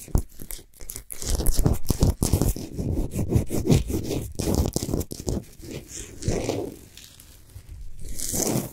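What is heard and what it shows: Long nails scratch fast across the sides and top of a large, solid Himalayan salt sphere lamp lit from inside. The result is a dense run of irregular, rough rasping strokes with a heavy low-end body, brief dropouts between bursts, and a few brighter, hissier scrapes near the end.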